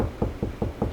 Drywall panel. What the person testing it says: Lower hollow pitch means there's nothing there, so see, this wall is hollow in here, no stud at all.